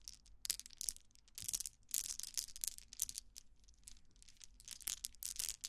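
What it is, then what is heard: Plastic bead toy, scratched. A pink plastic toy wand about hand length, with a cluster of small colored plastic balls on one end, is held in both hands while fingertips and long nails scratch and rub the balls. The result is a series of quick, bright, crackly scratching and clicking bursts with almost no low end and no ring after each burst.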